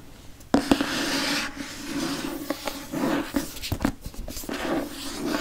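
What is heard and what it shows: Fingernails scratch and rub across the glossy cardboard cover of a solid, dark hardcover Harry Potter book with a hippogriff on the front. After a quiet start, a sudden sharp tap begins a steady, bright scraping rasp with a faint tone near 280 Hz. A few more short knocks break up the continuous rubbing.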